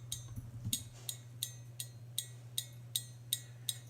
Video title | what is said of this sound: Wyze Sense Starter Kit Unboxing for Tinkers | when you tap it you can hear the antenna inside vibrating